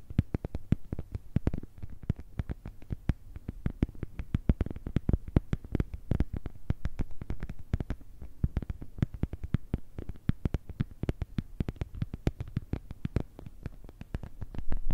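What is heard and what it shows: An empty, transparent plastic phone case is tapped with long nails on its back and along the edge of its camera cutout. The result is a rapid, steady stream of short, dry clicks with a soft, low, hollow body and no ring, continuing for the whole clip.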